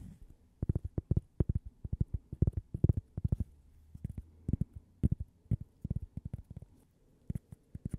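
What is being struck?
Thin cork coaster.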